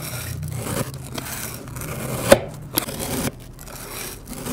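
A metal knife slices horizontally through the side of a solid, round puck of pink kinetic sand resting on an MDF board. It makes a soft, grainy scraping and crunching sound, with two sharp clicks standing out midway before the scraping drops quieter.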